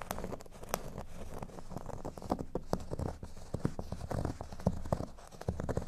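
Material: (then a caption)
Cork. Nail tips scratch and tap across a large, solid, flat cork board shaped like a speech bubble, ending with hands at the top edge. The sound is a dense run of short, dull, muffled scrapes and taps, mostly low in tone with almost no bright content. Each contact dies away almost instantly.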